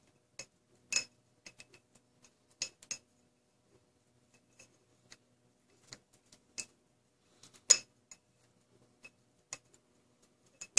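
An empty, clear, medium-sized mason-type glass jar is held in one hand and tapped and scratched by felt-tip markers worn like claws on the fingers of the other hand. The plastic marker bodies make short, bright clicks and clinks on the hollow glass, spaced irregularly with quiet gaps between them. Each tap is high-pitched, dies away almost instantly and has almost no low end.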